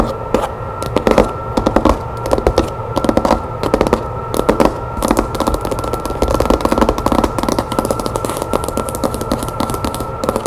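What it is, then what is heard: Cloth-covered hardcover book. Long nails fast-tap the cover of a red cloth-bound hardcover book lying flat on a table. They make rapid, dense clicky taps in quick bursts with short pauses between. A steady low hum and a faint constant tone run underneath.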